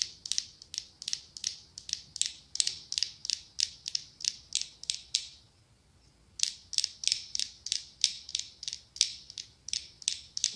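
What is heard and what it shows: Long acrylic nails tap and scratch the ribbed glass sides of a medium pumpkin-shaped glass candle jar filled with orange wax. The result is a rapid, even run of short, bright, dry clicks that stop briefly midway, then resume at the same pace.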